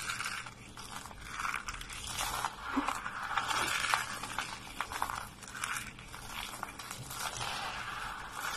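A pile of thin, dry, brittle white soap flakes and curls on a wooden surface is squeezed and crunched in bare fists, then pressed and rubbed flat with fingertips and palms. Dense, crisp crunching and crackling runs throughout in swelling waves, bright and papery with a midrange core and little low end.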